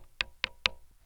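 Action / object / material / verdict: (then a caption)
tap / wooden desk / wood / none. A wooden desk is tapped three times, picked up by a contact mic attached to its surface. Each tap is a short, dry, bright knock with almost no ring, much like a wood block.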